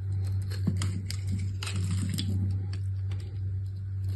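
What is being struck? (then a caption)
Bar of soap scraped with a blade. A solid rectangular green soap bar, held in one hand with long red nails, is scraped with a metal utility-knife blade so soft shavings curl off its surface. Soft, irregular scratchy scraping strokes with brief bright crackles repeat over a steady low hum. A purple soap bar sits nearby, untouched.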